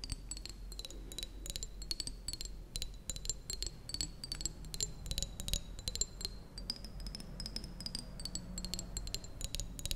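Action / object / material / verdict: tap / small glass jar partly filled with water / glass / none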